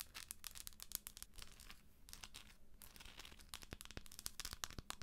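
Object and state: Plastic moon lamp.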